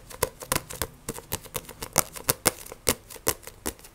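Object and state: Paperback book tapped with fingernails.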